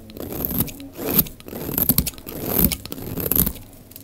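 A utility knife blade shaves flakes off the face of a solid, dry, oval pink soap bar held in the hand, working until the bar gets thin. Steady, irregular strokes give dry crunchy scraping that swells and fades with each pass, full in the low range and topped by bright crackly ticks.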